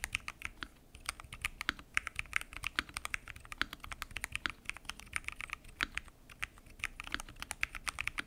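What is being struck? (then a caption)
Mechanical keyboard with plastic keycaps and acrylic case. Fingertips type continuously on a full-size mechanical keyboard with pink and mint PBT keycaps, lubed switches and a transparent acrylic case. The result is a steady, quiet stream of quick, crisp key clacks, bright and short with almost no ring, and a few slightly heavier low thumps mixed in.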